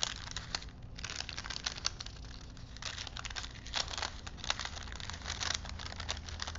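Fingertips roll a thin printed paper film strip held between wooden spools, crinkling the paper. The result is a dense, continuous bright crackle with brief louder crinkles, over a faint steady low hum.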